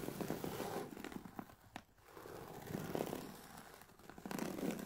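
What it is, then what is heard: Fabric-covered hard-shell headphone case. Long painted nails from both hands scratch across the textured woven fabric of a closed, oval, grey hard-shell headphone case for Sony WH-1000XM4 headphones, which lies on a black fluffy mat. The result is a soft, dry, scratchy rustle in quick, uneven strokes, with a brief quiet dip near the two-second mark before the scratching picks up again.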